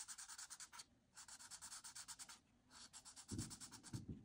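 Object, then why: Marker nib on paper sheet. A marker nib is drawn and rubbed in quick strokes along the wavy frame edges of a flat white paper coloring sheet with printed line art. It makes crunchy, bright scratching in rapid rhythmic runs, separated by short pauses. Near the end, a few duller low thumps mix in with the strokes.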